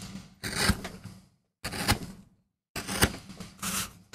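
A steel gouge in a wooden handle makes short scraping cuts into a small, flat, solid MDF relief printing block held down by hand. Each cut is a dry, rasping scrape with a bright hiss and a low, woody body, and the cuts are separated by brief silences.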